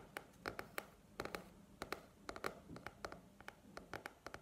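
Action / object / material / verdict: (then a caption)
tap / paperback book with card cover / cardboard / none. Long nails tap and scratch the glossy cardboard back cover of a paperback book held upright. A quiet run of 23 short, dry clicks comes in uneven bursts over a soft scratchy rustle, each tap bright and mid-pitched with almost no ring.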